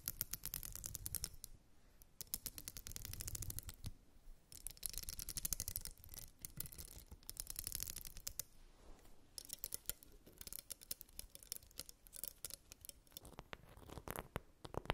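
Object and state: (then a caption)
Plastic comb. A purple glitter plastic wide-tooth comb is held and then laid down while long nails strum its teeth and scratch across it. The result is rapid, crisp clicking runs with bursts of bright scratching between them.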